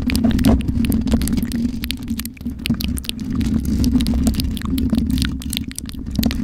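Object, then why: Metal mesh microphone grille. Long nails scratch across the black metal mesh grille of a USB microphone, making a dense, continuous rasp of quick, irregular scrapes and clicks. A steady low hum sits underneath, while the sharp scratch transients flick up into bright highs.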